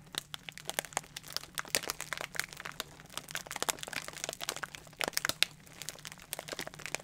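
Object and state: Plastic bubble wrap being crinkled and popped.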